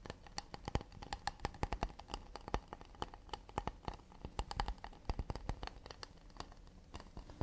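Fingertips and nails quickly tap and scratch the underside of an empty, round, hollow acacia wooden plate held close to the microphone. The result is a rapid, uneven run of sharp, dry clicks and light knocks, each dying away almost instantly, with a soft low hollow thump beneath them and faint scratching in between.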